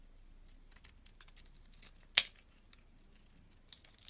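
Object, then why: Bar of soap scraped with a knife blade. A blue-handled utility-knife blade scrapes flakes off the surface of a hand-held, oval, solid blue bar of soap. Quiet, bright, crisp scraping ticks run throughout, with one sharp, louder scrape about halfway through before the faint scratching resumes.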